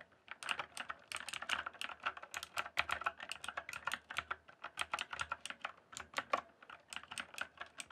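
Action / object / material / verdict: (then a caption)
tap / mechanical keyboard with plastic keycaps / plastic / none. Fingertips type steadily on a backlit mechanical keyboard with plastic keycaps, producing a rapid, uneven run of short, sharp clacks. Each keystroke is bright and crisp, centred around the midrange near 1.1 kHz, and dies away almost instantly with no ring.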